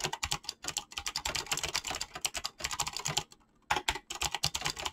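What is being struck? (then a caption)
Mechanical keyboard with PBT plastic keycaps. Fingertips type fast on a mechanical keyboard with clicky switches and PBT plastic keycaps. The result is a dense run of sharp, bright clicks with little low end, broken by a brief pause just past the three-second mark before the typing resumes.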